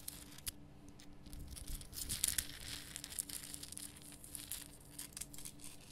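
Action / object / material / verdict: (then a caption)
scrape / rock salt lamp / rock salt / none. Long nails scratch across the rough sides and top of a large, lit, pink Himalayan rock salt lamp made of solid salt. The result is a dry, bright, gritty scraping with quick crackling bursts, peaking midway, over a faint steady low hum.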